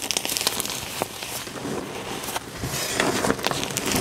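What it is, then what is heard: Dyed gym chalk powder being raked. Fingertips dig into and rake through fine pink dyed gym chalk powder in a tray. The result is a steady, dry, crackly rubbing and scratching texture, mostly bright with little low end, broken by sharp little ticks and crinkles throughout.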